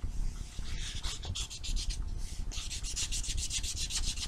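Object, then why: Foam nail buffer block on fingernails. A small, solid foam nail buffer block with blue and white abrasive sides is held in the hand and rubbed against fingernails. It makes a quick run of soft, bright, scratchy strokes over a steady low rumble, with a brief pause partway through.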